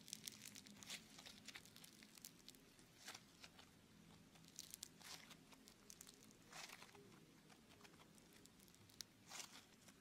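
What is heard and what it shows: A lump of blue beaded foam clay (Floam) is stretched between the hands, then squeezed into a ball in one hand. It makes quiet, bright, dense crackling and crinkling, with short popping bursts over a faint low hum.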